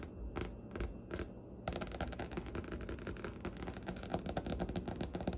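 Long nails from both hands tap on a large, solid wooden butcher-block desk top with striped grain. A few spaced, dull knocks with bright clicky edges give way, after about a second and a half, to a rapid, steady flurry of short taps that stop almost instantly. The sound has a woody low body.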